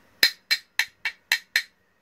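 A metal engine part from an old Yamaha Vixion motorcycle is knocked six times, giving short, bright, ringing taps with most energy above 2 kHz. The old part rings louder than the newer one it is being compared against.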